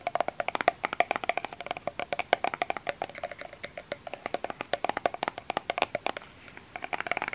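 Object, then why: Small plastic lotion bottle. Long fingernails tap rapidly on a small plastic lotion bottle with a printed label and an orange cap, held in the hand. Around fifty short, dry clicks sound in quick irregular bursts, each with a hollow tone near 700 Hz and a bright edge. The clicks stop almost instantly, with no ring and very little low end.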